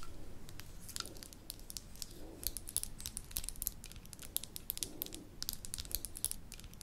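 Long nails tap and scratch the bottom and sides of a small amber glass jar with a gold metal lid, held in the hands. Quick, bright clicks and ticks come in irregular bursts over soft scratching, with each tap dying away almost at once.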